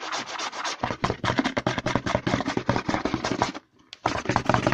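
Short nails quickly scratch the label and side of a hollow white plastic CeraVe lotion bottle held upside down. They make a fast, dense run of crisp scratches and taps with a hollow, bright rasp, pausing briefly near the end before resuming just as quickly.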